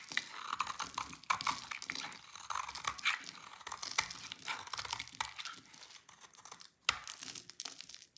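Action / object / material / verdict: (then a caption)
scrape / laundry soap bar scraped with a blade / soap / none. A utility knife blade scrapes a rectangular, solid, dry orange laundry soap bar, piling up crunchy orange shavings. Dense, crisp crunching and crinkling strokes come in quick bursts, bright and dry with almost no low end, with a few sharper cracks standing out. The sound eases slightly near the end before one last sharp crunch.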